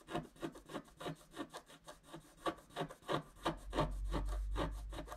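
A wooden stylus scrapes dense back-and-forth strokes into a flat scratch-art card of wax-coated paper, working on the left tree trunk while one hand holds the card. The result is a steady run of short, dry, raspy scratches at roughly three per second, with a low rumble building underneath toward the end.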